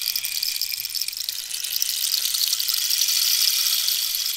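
Long nails scratch the ridged surface of a long, hollow, wooden dried-cactus rainstick held horizontal and then tilted. The result is a bright, dense, hissing scratch and rustle with almost no low end, swelling a little louder in the second half.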